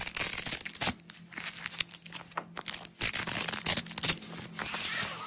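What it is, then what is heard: Nylon hook-and-loop strap being peeled. A small coiled roll of yellow nylon hook-and-loop (Velcro) strap, a flexible fabric, is peeled apart and pressed together by fingertips with long acrylic nails. Bright, crackling rips come in irregular bursts, loud at the start, quieter and scratchier in the middle, then loud again before fading into a soft hiss.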